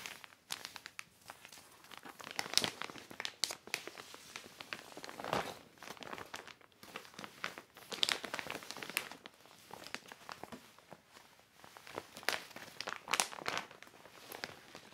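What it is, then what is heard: Heavy plastic sheet crinkling. A large black heavy plastic sheet is lifted and handled by hand, crinkling the thin plastic. Dense bursts of bright crackling come in uneven waves, with sharp crisp peaks and very little low end.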